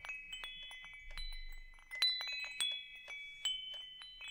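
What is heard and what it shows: A hanging wind chime with hollow metal tubes has its tubes tapped by fingertips, then the chime is held up and swayed. Bright, high metallic tones ring out and overlap, layering sustained chiming pitches over soft tapping.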